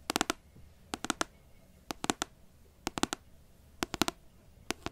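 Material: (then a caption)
Paper. Long nails tap and scratch the glossy card front cover of a large, solid paperback book. Sixteen short, dry, bright clicks come in quick clusters of two to four, each stopping almost instantly, over a quiet background.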